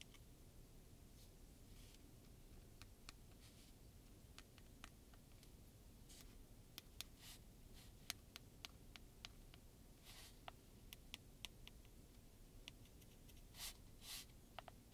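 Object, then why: Hollow plastic heat gun housing. Fingertips and nails rub and tap along the grip of a hand-held grey and pink plastic heat gun with a hollow body and a label, held in one hand. Quiet, sharp, bright clicks and ticks ring off quickly, with some soft, brushy scraping between them. Underneath is a steady low rumble.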